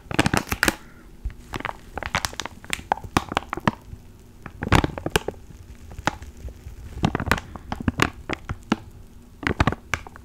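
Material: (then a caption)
Plastic. A small clear plastic ziploc bag with a black foam mic cover inside is held in both hands and crinkled and squeezed with fingertips. Sharp, bright crackles and crinkles come in irregular bursts, with brief quiet gaps between them.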